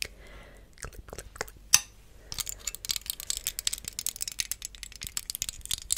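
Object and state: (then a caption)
Plastic hair claw clip. A small, hollow, clear plastic hair claw clip is held close to the microphone and tapped and clicked with long acrylic nails. Sparse, bright clicks and one sharp snap give way to a dense, rapid, rattling patter of crisp, high taps.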